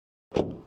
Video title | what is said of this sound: Revue de la Dacia Spring 2025 – La voiture citadine parfaite à petit prix ! | En ce qui concerne le son, ça sonne assez bien, assez simple.